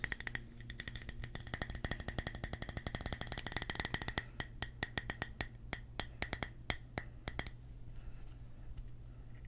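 Fingertips tap and scratch the smooth cut face of a thick, palm-sized round slice of solid natural wood with rough bark on its side and reddish growth rings. Dense, rapid, dry clicks run through most of the clip, with a steady low hum underneath. The tapping thins to sparser, sharper taps before fading into soft scratching.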